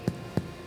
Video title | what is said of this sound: Baking Sourdough with Dear Grain - Food Is Me S01E01 | like knocking on a door on a hollow door, that means bread is ready